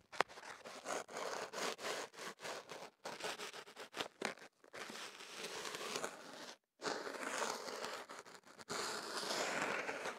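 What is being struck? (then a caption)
Kenaf paper tube scratched with a thin stick. White kenaf paper rolled into a tube around a small microphone is scratched and rubbed inside its opening with a thin swab stick held by fingertips. Close, dry, crackling scratches and papery rustles come in irregular bursts, giving way to steadier rubbing after a brief silence. The sound is bright and airy with almost no low end.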